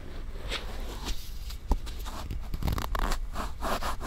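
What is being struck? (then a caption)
Silicone ear-shaped microphone rubbed with a cotton swab. A cotton swab held in fingers with long dark nails rubs and scratches inside the ear canal and folds of a solid, white, soft silicone ear-shaped binaural microphone on a round base. The result is close, muffled scraping and scratching with a heavy low rumble and short crackly bursts.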